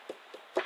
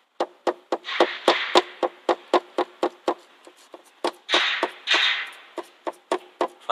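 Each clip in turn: First: secure car tail light, no rattle. Second: loose rattling car tail light.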